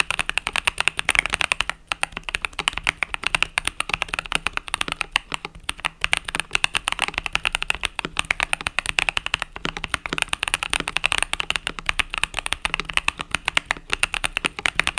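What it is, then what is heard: Mechanical keyboard being typed on. Fingertips with short pink nails type rapidly on a compact mechanical keyboard with white, pink, purple and yellow plastic keycaps and a coiled cable. A steady stream of short, crisp plastic clacks with almost no ring runs through the clip, bright and mostly high-pitched with little low end.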